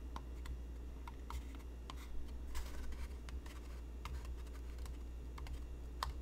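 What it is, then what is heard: Cardboard box tapped with fingertips and nails. Fingertips and nails tap on the side of a medium, hollow white cardboard craft box held in the hands, and the box is tilted toward the end. Quick, light, dry clicks land irregularly over a steady low hum.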